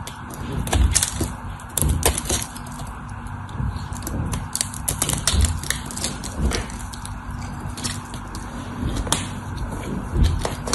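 A solid cream-white dry bar of soap is held in the hand while its edges are shaved and carved with a metal utility knife blade, sending crumbs falling. Dry, crisp scraping and crackling cuts with short, bright clicks sound over a steady low hum throughout.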